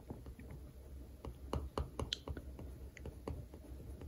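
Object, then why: Paper sticker on a glossy textbook cover. A plastic pen tip traces and scratches over the printed text of a green paper rental sticker on the glossy cover of a solid textbook lying flat. The result is quiet, dry scraping with a series of short, sharp ticks, mostly low and dull with little high-end brightness.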